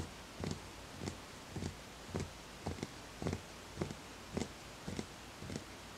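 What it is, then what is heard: Empty wooden bowl, hollow. Fingertips tap the outer wall of a small, empty, hollow wooden bowl in a slow, steady series. Each tap is a soft, hollow knock with a low body around the bottom and a faint bright edge. The knocks die away quickly against a quiet, hissy background.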